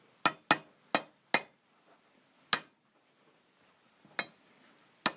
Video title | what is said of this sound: Замена подшипника ступицы на Оке без пресса | Чувствуешь, что звук другой, да? Что подшипник уперся?